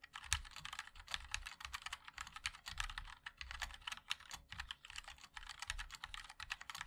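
Fingertips of both hands type continuously on a compact 60% MOD-L mechanical keyboard with a black case, white and black plastic keycaps and linear switches. The result is a steady, fast stream of short, bright plastic clacks with a soft low thump under each keystroke, and each one dies away almost instantly.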